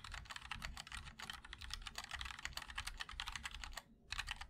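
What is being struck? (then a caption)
Mechanical keyboard with plastic keycaps in a metal case. Fingertips of both hands type continuously on a MOD-L Linear 60% mechanical keyboard with white and black ABS keycaps in a black aluminum case. A rapid stream of bright, crisp clacks with a soft low thock beneath runs steadily, breaks for a brief pause near the four-second mark, then resumes.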